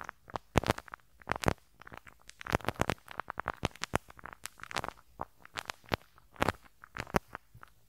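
A pink rubber-bristle brush is swept over the small hollow metal mesh grille of a handheld stereo recorder's right capsule. The result is a rapid run of dry, crackling, scratchy bursts with sharp bright edges and quick decay, rising and falling in loudness across the clip.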